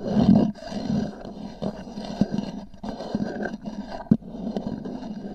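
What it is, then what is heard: Hollow hard-shell case. Long nails tap and scratch the top of a small, hollow black oval hard-shell EVA zip case with a textured fabric cover, resting on a fur rug. The sound is a dull, hollow low rumble with raspy scratching, opening loud and settling into a steady scrape broken by a few sharper taps.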